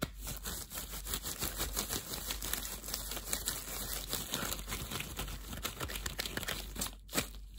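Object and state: Disposable plastic gloves rustling.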